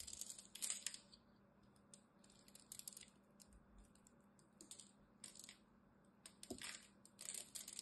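A small craft knife blade cuts and scrapes the edge of a solid green bar of dry soap held in the hand, breaking off brittle flakes and cubes. Quiet, bright, crisp crackles and snaps come in short bursts with almost no ring, separated by near-silent pauses.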